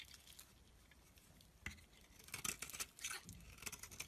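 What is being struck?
Bar soap shaved with a blade.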